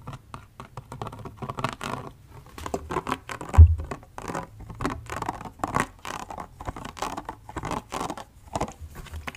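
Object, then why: Plastic spray bottle. A plastic body mist spray bottle filled with orange liquid, held sideways and then upright, is tapped and scratched with fingernails. The result is a busy run of soft, dry scratching and quick patter, with dull low knocks under brief brighter scrapes. One louder thump stands out near the middle.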